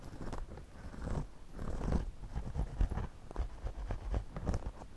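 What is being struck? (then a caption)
Woven straw hat brim. A pencil tip scratches along the brim of a white, wide-brim woven straw floppy hat worn on the head, while the other hand holds the brim. The result is a close, soft, low scratchy rustle that swells and fades in uneven strokes, with short crackly ticks scattered throughout.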